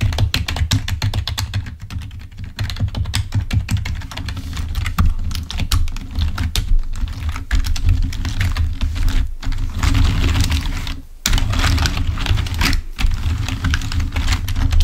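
Fingertips type rapidly on the keys of a full-size black plastic Microsoft keyboard resting on a table, ending with the hands resting on the keys. A dense stream of short, dry clicks and taps rides over a deep, steady low thump, with brief pauses near 9, 11 and 13 seconds.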